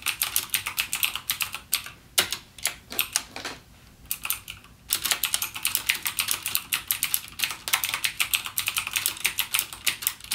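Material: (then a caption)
Plastic. Fingertips type rapidly on the clicky blue-switch keys of a backlit plastic mechanical keyboard, a gaming keyboard with Cherry MX Blue switches. The sound is a dense run of sharp, bright clicks with little low end. Short pauses break it up around two and four seconds before the fast typing resumes.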